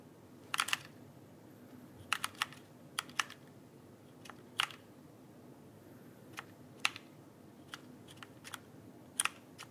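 A backlit plastic mechanical keyboard is held upright while fingertips tap its plastic keycaps. Sharp, bright clicks come in irregular bursts and single taps, each dying away almost instantly, over a faint low hiss.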